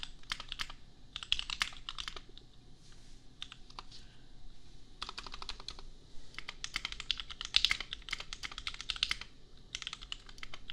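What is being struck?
Plastic mechanical keyboard.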